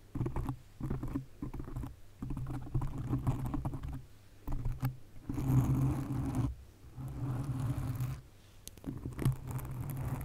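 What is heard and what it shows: Long nails scratch the sides of a black foam windscreen on a condenser microphone. The scratching comes through as a muffled, low rumbling rustle in irregular bursts separated by short quiet gaps, with a faint bright hiss above the deep thumping texture.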